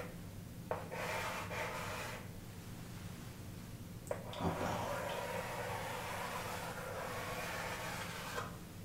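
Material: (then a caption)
Chalk. A chalk stick rubs and scratches across the flat surface of a large wall-mounted chalkboard with an aluminium frame as someone writes "Solar System" and draws a wavy line. Three sharp taps mark where the chalk meets the board, each followed by long stretches of bright, dry scraping strokes over a steady low hum.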